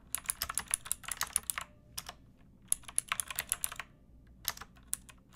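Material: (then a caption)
Plastic. Long nails and fingertips type on a backlit pink mechanical keyboard with round plastic keycaps and a hollow plastic case. Quick bursts of bright, clicky keystrokes come in rapid runs separated by short pauses, each key press sharp and dry with almost no ring.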